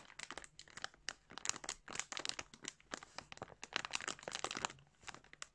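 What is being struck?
Thin plastic bag holding balls of yarn.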